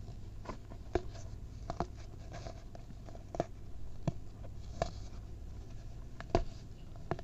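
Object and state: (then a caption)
Baking soda pile being crumbled. Both hands squeeze and crumble clumps of packed white baking soda over a mound of the powder. Soft, dry crunches and crackles sound in short, scattered bursts over a steady low hum. The clip is quiet and close, and each crumble fades quickly.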